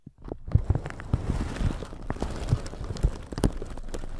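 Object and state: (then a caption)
Plastic shower cap being brushed. A plastic shower cap stretched over a microphone is scratched and brushed with a flat red-bristle brush. The result is a dense, close-up run of muffled crinkling and scraping, heavy in low thumps with a few sharper bristle flicks on top.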